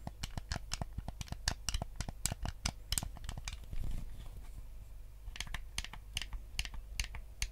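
A white, hollow plastic Nintendo GameCube controller is held in both hands while fingertips click its buttons and tap its shell. The result is a run of sharp, bright plastic clicks and taps over a steady low hum, with a softer rubbing, scratchy stretch in the middle before the quick clicking resumes.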